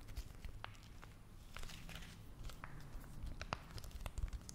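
A small, flat, red printed foil-and-plastic face mask sachet, thin, hollow and sealed, likely still holding the mask, is held in both hands and tapped and scratched with long manicured nails. Quiet, crisp crinkling and scratching mix with sharp, short ticks and taps over a low, soft rumble. The taps are dry with almost no ring, growing a little busier toward the end.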